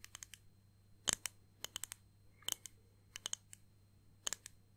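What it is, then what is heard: Clear acrylic disc ornament. Long painted nails tap and scratch a small, flat, solid clear acrylic disc ornament holding pressed flowers and "Grandad" lettering. Eighteen short, bright, dry clicks come in loose clusters, each dying almost instantly over a faint low hum.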